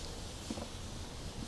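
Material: Nothing is struck.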